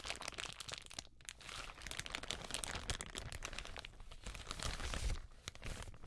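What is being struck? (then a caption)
Thin plastic bag. Gloved fingers crumple and rub the film of a thin, empty, white translucent plastic bag held up close. The result is a dense, continuous run of bright crinkles and crackles over a low rumble, swelling and easing without a clear break.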